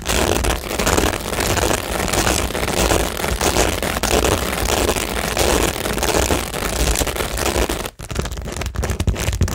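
Long nails rapidly scratch and tap across a textured cork tingle board covered in small plastic rhinestones. The result is a dense, continuous crackling scrape with bright, gritty clicks over a low rumble. The sound stays steady except for a brief drop near the end before the scratching resumes.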